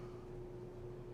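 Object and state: Nothing is struck.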